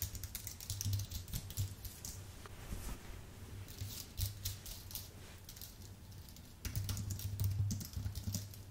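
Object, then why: Plastic-key keyboard on aluminium base. Fingertips type on a white full-size Apple Magic Keyboard with plastic keycaps on an aluminium base. It produces a rapid, continuous stream of light, bright key clicks that grow busier near the start and again toward the end. A steady low hum around 100 Hz runs underneath throughout.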